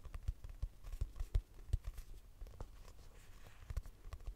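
A purple notebook with a cardboard cover, held upright as a solid paper block, is tapped with long nails. About 17 soft, dull, low thuds land in an uneven rhythm, each dying away almost at once with no ring.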